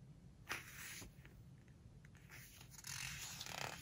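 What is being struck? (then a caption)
Glossy paper hardcover book. Fingertips and long nails rub and scratch across the glossy paper pages of a large open hardcover home-decor book lying flat on a floral cloth, then turn the pages. Soft, bright, papery scratches and swishes rise and fall over a low background hum, with a sharp rustle near the start and a fuller sweep of paper toward the end.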